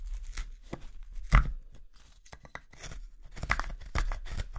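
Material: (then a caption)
Wood. A small steel carving knife slices shavings off the handle of a pale, solid wood spoon blank held upright in one hand, using repeated cutting and scraping strokes. Short, dry tearing and scraping bursts come one after another, with the loudest cut just past the first second. Each stroke stops almost at once, with a low, dull body under the bright rasp.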